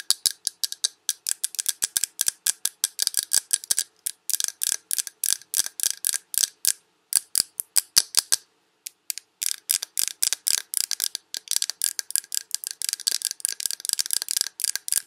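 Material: Glass.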